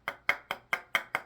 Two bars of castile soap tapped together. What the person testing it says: This one has more of like a rock, kind of a rocky kind of feel to it. Like you can hear it when I tap them together.